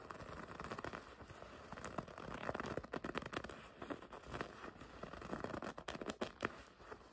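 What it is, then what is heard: Leather jacket scratched by fingernails. Long red nails scratch and grip the smooth front panel of a black and red leather racing jacket. The result is a quiet, continuous run of dry scratching and crinkling rubs, broken by many short, sharp squeaks and taps that die away almost instantly.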